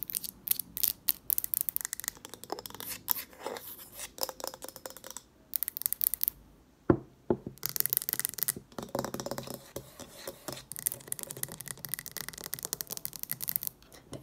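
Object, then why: Wax-filled glass jar candle. A green, wax-filled glass jar candle with a lid is held in both hands while long nails rapidly tap and scratch its glass walls and label. The result is a dense run of sharp, bright clicks and scratchy scraping, with a few brief pauses.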